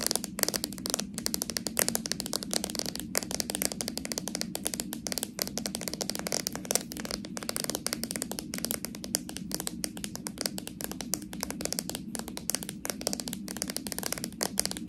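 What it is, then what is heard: Plastic slime jar with metal lid. Long nails tap and scratch quickly across the labelled plastic body of a small, full slime jar with a metal lid. The result is a steady, rapid stream of dry, bright clicks and scratchy rasps with almost no ring, over a soft, constant low hum throughout.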